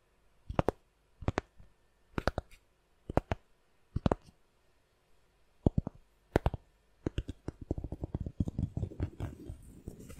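A round, solid cork coaster is held by the edge and scratched with long nails across its rough surface. Short, dry bursts of scratching come in small clusters separated by quiet gaps, then build into a denser, continuous rasp toward the end. The sound is soft, close, and mostly low and muffled, with brief crisp edges on each stroke.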